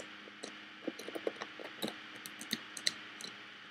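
Fingernails tap and scratch down the woven front and along the lid edge of a hollow, woven bamboo-covered box with a metal clasp. Eleven short, dry clicks and light scrapes sound over a soft, bright rustle. The taps are quiet and crisp, with almost no ring or low end.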